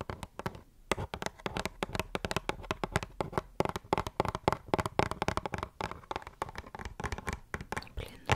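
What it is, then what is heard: Hollow cardboard box. A small, hollow pink "Wonder Rose" cardboard box is tapped on its sides and top with long nails close to the microphone. The result is a rapid, uneven stream of short, dry clicks and taps with no ring, carrying some low body and a faint papery crinkle between hits.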